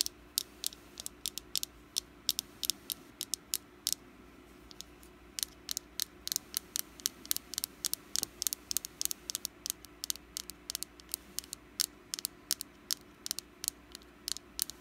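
Long black nails tap and scratch a small, solid orange wax jack-o'-lantern candle held in the hand. Dozens of quick, bright, dry clicks land over a faint steady hum, each dying out almost instantly.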